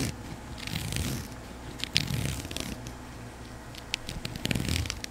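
Fingertips and long pink nails scratch and rub along a flat grey woven strap, probably nylon and about a hand wide, held in one hand. Soft, dry scratching and rasping come in uneven strokes, with bright crackly bursts over a dull low rumble.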